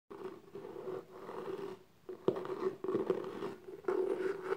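Long pink-painted nails and fingertips scratch and tap the lid of a small, closed, hollow black gift box made of cardboard covered in embossed textured paper, with a gold logo. Soft, steady scratching is heard in bursts with a midrange tone around 375 Hz, broken by sharper taps on the hollow box.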